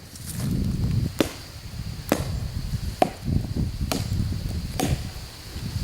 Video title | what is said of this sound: White Oak Tree (Removal) Quercus Alba - Peru, Indiana | it sounds bad down here sounds Hollow at the base